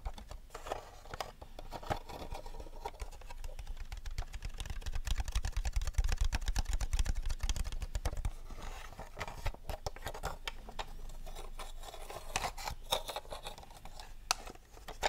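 Fingernails tap rapidly on the body and dome of a small, hollow white-and-blue plastic R2-D2 toy figure held close to the microphone. The result is a dense, uneven stream of short, dry clicks and light taps with a low rumble underneath, swelling louder in the middle before easing back.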